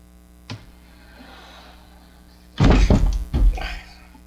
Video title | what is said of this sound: 1940 Firestone Air Chief Radio repair - Model S-7398-5 | it's got something loose inside I can hear it I think it's probably a tube